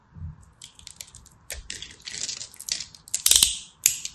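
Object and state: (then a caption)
Soap bar scraped with a blade. A small black blade scratches across the grid-scored face of a hand-held purple and white striped solid soap bar, and flakes crack off. Irregular bursts of bright, dry crackling and scraping come in quick succession, each dying out almost at once, with the loudest snaps near the end.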